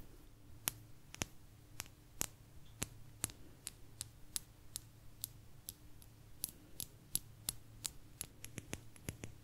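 A small, thin, solid blue agate slice is scratched along its rim with long nails. About 25 sharp, bright clicks come at an uneven pace and speed up toward the end, each dying away almost instantly. A steady low hum and a faint mid tone sit underneath.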